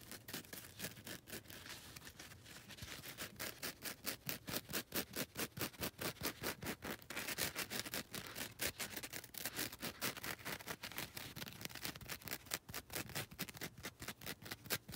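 Long red nails scratch the gritty abrasive faces of a solid, palm-sized grey and lilac foam nail buffer block. The result is a steady run of quick, dry, bright rasping strokes at a somewhat uneven rhythm, each short and scratchy with almost no ring, at a soft, close level throughout.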